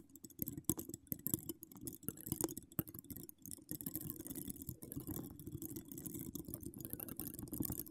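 Long acrylic nails decorated with donut charms and wire spirals scratch across a hollow metal wire-mesh microphone grille. The result is a dense, continuous run of quick scratchy clicks and rasps, heavy in the low range around 300 Hz with a faint bright hiss above. The texture starts sparse and uneven, then settles into a steadier, busier scratching.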